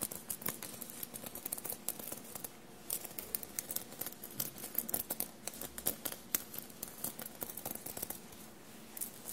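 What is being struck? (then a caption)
Cotton shirt covered in small metal sequins. Long blue-painted nails rapidly tap and scratch a bunched navy cotton shirt covered in small silver paillettes. The result is a quiet, steady stream of bright, crisp clicks and dry scratching over a soft fabric rustle, with each tap dying away almost instantly.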